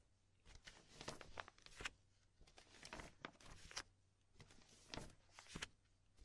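A stack of empty, thin clear polypropylene binder sleeves is rubbed, pressed and flipped by a hand with long nails, with a magazine lying untouched beside it. Bursts of bright plastic crinkling and crackling come in clusters, with brief quiet gaps between them over a faint low hum.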